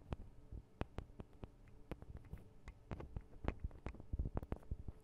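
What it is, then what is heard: Metal microphone capsules. Long acrylic nails tap rapidly on the small hollow metal-guarded microphone capsules of a Tascam DR-40 recorder. The result is quiet, irregular clicks with short, sharp attacks and almost no ring, each carrying a deep low thump over a faint low hum.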